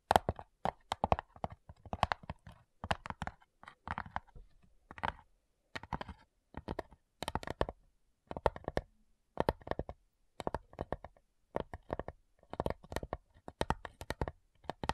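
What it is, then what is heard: Wooden cigar box tapped with fingernails. Long nails tap the top lid of a small, hollow, light-wood cigar-style box with brass clasps. Quick bursts of dry, clicking taps give a hollow midrange knock that dies away almost instantly. Each flurry is separated by short silent pauses.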